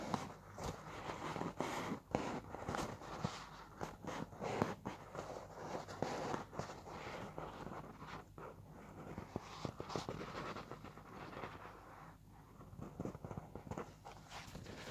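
Long dark-red polished nails and fingertips tap and lightly scratch the quilted surface of a full, soft white embossed paper towel roll lying on its side. Quiet, muffled, dull taps come in quick irregular bursts, mixed with faint papery scratching. Each tap dies away almost at once.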